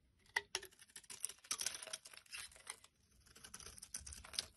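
A solid, hand-sized, cream-white soap bar is scraped with a metal blade, producing flaky shavings. Quiet, bright, crisp scraping and crackling strokes come in short bursts with almost no low end. Each scrape dies away almost instantly.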